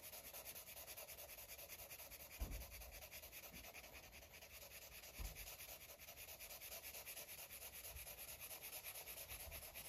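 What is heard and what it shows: A green Sharpie felt-tip marker is rubbed in short strokes over a paper coloring book page resting on a soft surface. It makes a steady, quiet, scratchy rubbing with a bright hiss and a rapid, even rhythm. Two slightly louder, low soft thumps stand out partway through.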